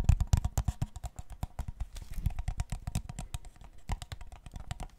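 A clear, thin-walled, empty plastic water bottle is held sideways and then upside down while fingertips tap, scratch and squeeze its body and cap. The result is a rapid, dense run of short, dry, crinkly taps with a low thump under them and quick bright clicks on top.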